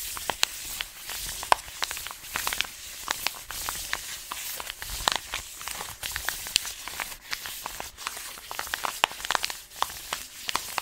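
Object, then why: Paper-foil coffee bag of beans. Fingers rub and scratch the paper of an orange, taped paper-foil coffee bag full of beans. The result is a steady, bright crinkling hiss broken by many sharp, dry scratches and crackles, with almost no low end.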